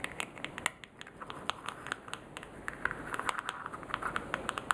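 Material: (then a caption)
Plastic. Fingernails click on the rim of a small orange plastic jar while fingers open and close its clear plastic screw lid. A quick, uneven series of light, dry plastic clicks and taps rises over a soft scratchy rustle, each click bright and gone almost instantly. The taps grow denser and a little louder toward the end.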